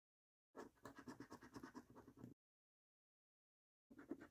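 A coin held in the fingers scratches repeatedly across the game panels of a thin cardboard £15 "3x £1 Million Snack Stack" National Lottery scratch card with a latex scratch-off coating, lying flat on a dark wooden table while the other hand steadies it. A quick run of soft, raspy strokes fills about two seconds, then after a silent gap a second burst of scratching starts near the end. The strokes are quiet, with a dry mid-range grit and a faint bright edge.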